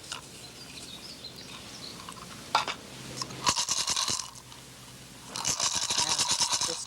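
A turtle shell rattle, freshly topped up with more small pebbles, is shaken in short bursts, giving a bright, crisp clatter of pebbles rattling inside the shell with brief pauses between bursts. The rattle now has the right sound.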